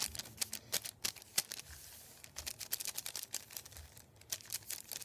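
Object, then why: Thin paper sheet on a wooden table. Fingertips tap, rub and crinkle a thin sheet of printed white paper lying on a wooden table. Quiet, bright, crisp crackles and short dry taps come in an irregular patter, with a brief soft rubbing hiss in the middle. Each sound dies away almost instantly, with almost no low end.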